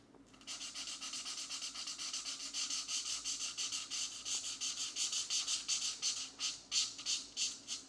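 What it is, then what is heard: Felt-tip marker rubbing on a paper page. A grey felt-tip marker makes small rubbing strokes on a paper mandala coloring book page resting on a stack of pages. The result is a rapid, steady run of bright, scratchy swishes with a faint underlying hum, growing louder and more distinct toward the end.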